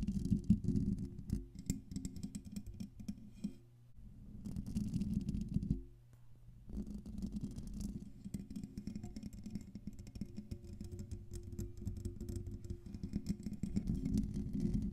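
Long pink-painted nails scratch the hollow metal mesh grille of a silver Blue Yeti microphone, producing a dense, rapid, uneven scratching and rasping texture. Heard up close, it is heavy in low, rumbly tones around 200 Hz, with brief quieter pauses near 4 and 6 seconds before the scratching resumes steadily.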